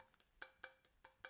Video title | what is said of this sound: MOD: Arctic Freezer 3 360mm aio WITH thermalright TL-B12 - Alternative to Noctua Noctua NF-A12x25? | almost sounds like metal but it's thick plastic